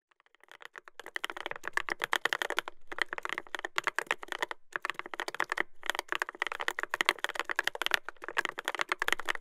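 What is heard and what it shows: Fingertips type rapidly on a Dolphin 2021 mechanical keyboard with a brass plate, Adelie switches and black-and-cream plastic keycaps, resting on a solid desktop. Dense runs of crisp, bright clicky key presses come in bursts separated by brief pauses, with almost no low end.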